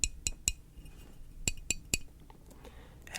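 Long nails tap a 10-ounce stainless steel espresso flask from a coffee shop, making bright, short metallic clinks with a high ring. Six taps fall in two quick groups of three, followed by a quiet stretch with faint rustling.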